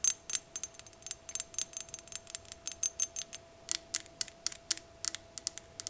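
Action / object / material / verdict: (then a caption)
tap / small glass vase / glass / none. A small, pear-shaped, lime-green glass vase with curved line designs is tapped quickly with fingernails, giving 31 short, bright clicks with very little ring. The taps come in quick, uneven bursts with brief pauses, and a faint steady tone runs underneath.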